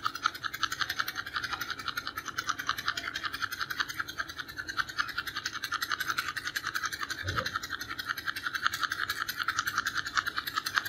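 Fingernails scratch along the edge and sides of a small, hollow purple and white cardboard box of creme bleach held in the hand. The result is a steady, rapid, dry scratching texture with a bright, papery rasp centered around 1.5 kHz. A brief low thump is heard near the seven-second mark.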